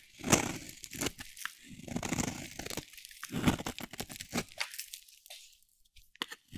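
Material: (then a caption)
Soap. A metal utility blade shaves thin curls off a solid, dry, oval pink soap bar held in the hand. The result is a series of irregular, crunchy scraping strokes, each a short dry burst spanning low to bright high tones, separated by brief quiet gaps.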